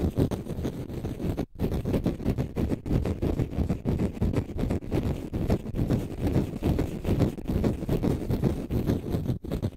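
A green konjac sponge puff, held in the left hand, is scratched with the nails of the right hand. The result is a dense, low, rumbling scratch and rustle that runs almost continuously, with brief gaps around 1.5 and 9.4 seconds.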